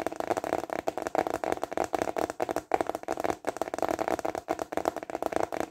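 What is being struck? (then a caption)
Thin plastic container lid. A thin, flat, translucent plastic container lid is held upright and tapped fast with fingertips and short nails. The result is a rapid, uneven run of short, dry plastic clicks with a hollow midrange tone around 750 Hz, very little low end, and no ring after each tap.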